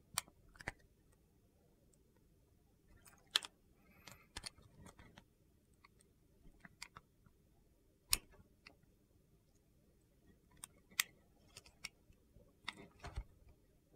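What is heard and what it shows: A metal box-cutter blade slices thin sheets off the top of a solid translucent purple glycerin soap bar held in hand. About 13 crisp, bright, very short clicks and scrapes come at irregular intervals over a low, quiet background.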